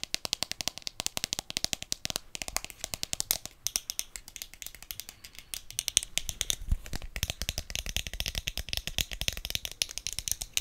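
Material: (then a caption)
Plastic. A smartphone in a solid white marble-pattern plastic case with a round pop grip is held in the hand and quickly tapped and scratched with long dark-painted nails. The result is a rapid, continuous run of about 84 sharp, bright plastic clicks with very short ring and soft scratchy texture between them.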